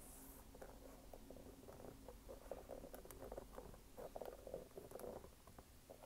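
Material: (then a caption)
Rubber. Fingernails scratch and tap the brown waffle rubber outsole of a red canvas sneaker held vertically. The result is a quiet, steady patter of dry scratching with soft, dull taps scattered through it, centered in the low midrange around 540 Hz, each tap dying away almost at once.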